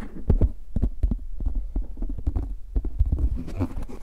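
A translucent plastic frisbee disc with a red rim is held and turned in the hands while fingertips tap and rub its rim and face. The result is a rapid, uneven series of soft, dull, bass-heavy thumps with short brushing sounds between them and almost no ring.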